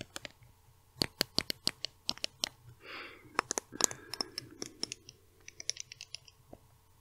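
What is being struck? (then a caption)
Small plastic cosmetic bottle. Long red nails tap and scratch a small pink plastic cosmetic bottle with a label, held in the hands. About 26 quick, bright, dry clicks ring off almost instantly, broken by a short soft scratching swish near the middle and a faint rustle underneath.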